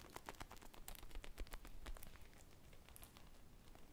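Long painted nails scratch and tap a small, soft, solid polyurethane foam ice-cream-on-a-stick squishy toy with a teal glaze and sprinkles, held in both hands. Quick, dry, crackly taps and scratches with bright edges come in a rapid, uneven patter over a low, soft rumble, busiest in the first half before thinning to faint scratching.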